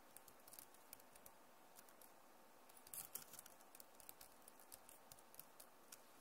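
Long nails rapidly tap the plastic keycaps of a backlit Acer laptop keyboard. Quiet, sharp, bright clicks with almost no ring-out come in a scattered patter over a low, steady hiss. A denser, louder cluster of taps arrives around the three-second mark.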